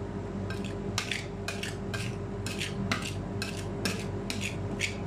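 A gloved hand scrapes and taps a metal spatula across a large, round stainless steel ice cream roll cold plate, spreading a thin layer of chocolate ice cream base over its solid surface. Sharp, bright metallic clinks repeat at an uneven rhythm over a steady low hum.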